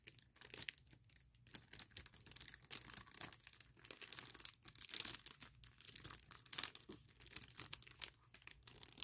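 Long painted nails and fingertips scratch and rub across a large, clear plastic bag printed with "CASE for MacBook," lying flat with a laptop case inside. The result is a quiet, steady stream of bright, crinkling, scratchy rustles with many short sharp bursts and almost no low end.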